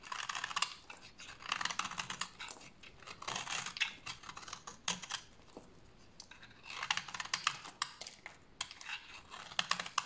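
A hand-sized solid bar of old, dry pink soap is held in hands with long teal nails and scraped with a utility blade into crumbly shavings. The scraping comes as bursts of quick, crisp, bright scratching strokes separated by short quiet pauses, with very little low end. The blade peels the dry soap away in crumbly shavings.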